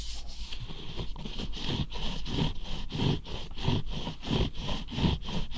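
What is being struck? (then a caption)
Whole cucumber with bumpy skin. A whole, solid, long green fresh cucumber with bumpy skin is rubbed against a microphone and scratched along its skin with the fingertips. The result is a steady run of dry scraping strokes, about one and a half per second, over a heavy low rumble from the contact with the mic.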